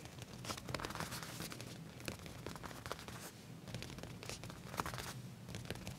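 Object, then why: Leather trousers. Fingertips with short nails scratch and trace across the back pocket area of black leather pants laid flat. The result is a steady run of dry, crinkly scratching and rustling, made of many quick bright strokes over a soft low rumble.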